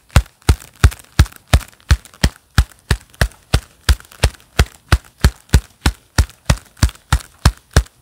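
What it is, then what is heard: Leather-gloved hand claps. Hands in a pair of black leather gloves clap and press together, gloved palms and fingers meeting in a steady rhythm of about three claps per second. Each clap is a soft, hollow, low thump with a brief bright edge that dies away almost at once, leaving quiet gaps between.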